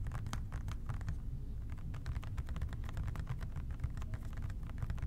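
An OxiClean plastic trigger spray bottle with a white trigger, hollow and partly full, is tapped with the fingertips of both hands. The result is a rapid, continuous patter of soft, dull, low taps that die away almost instantly, heard over a steady low rumble.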